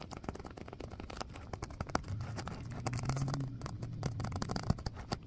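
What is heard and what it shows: A small stitched purple faux-leather (vinyl) filled pouch is squeezed, scratched and tapped with fingernails and fingertips. Quick, dry taps and scratchy rubbing come in a dense, uneven stream. Through the middle a low, soft squeezing drone swells and fades under the clicks.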